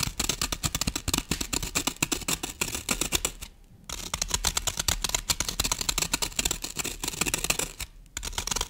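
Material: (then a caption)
Floral foam. Long painted nails scratch and dig into the top surface of a solid rectangular green floral foam brick, about 20 cm long, lying on a wooden table. Dense, rapid, crisp scratching and crunching strokes with a bright, hissy texture fill the clip. The strokes pause briefly around 3.5 and 8 seconds.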